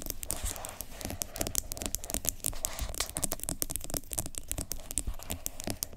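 Long nails tap and scratch the sides and lid edge of a medium, apparently full yellow plastic sugar scrub jar with an orange plastic lid while hands grip it. The result is a dense run of quick, dry, bright clicks over a scratchy, crinkly rustle and a soft low rumble. Each tap dies away almost instantly.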